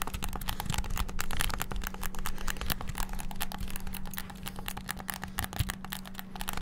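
Fingertips tap the buttons of a white and black hollow plastic PS5-style gamepad very rapidly, making a dense stream of short, sharp plastic clicks that barely ring. A steady low hum sits underneath the whole time.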